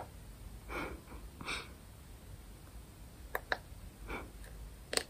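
A small round grey-and-white plastic smart light remote, held close to the mic, is tapped with long nails. Soft breathy swishes give way to three sharp, bright clicking taps that stop dead, over a faint low background rumble.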